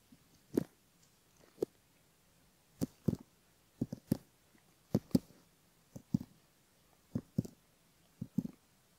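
A bamboo ear pick, held by fingertips, scratches along the upper ear fold and around the canal of a silicone left ear model. It makes short, soft, muffled scratching strokes, often in quick pairs, roughly once a second with brief pauses between them. Each stroke is low and dull with a faint bright edge and dies away almost instantly.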